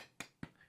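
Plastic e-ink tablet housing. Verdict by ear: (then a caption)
Hollow. Two taps on the plastic back of a reMarkable Paper Pure e-ink tablet give short, dull knocks with a low body near 160 Hz and almost no ring. The casing sounds a little hollow, less solid than the aluminium reMarkable 2.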